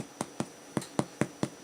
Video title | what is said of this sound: Making Bread | it's got that nice lighter pitched hollow sound